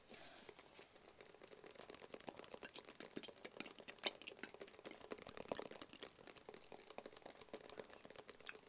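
A small, rigid, hollow black cardboard Tommy Hilfiger gift box is tapped quickly with the fingertips and nails of both hands. The result is a dense, continuous patter of soft, dry, bright clicks with no ring. It opens with a brief brighter burst and then settles into steady tapping.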